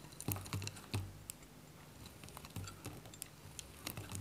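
A metal utility blade cuts crisp cubes off a small, dry, varnished white Godrej No.1 soap bar held in the hand. Each cut makes a short, dry, crunchy snap with a low thud and bright clicks, and the snaps come in quick irregular bursts that die away almost at once.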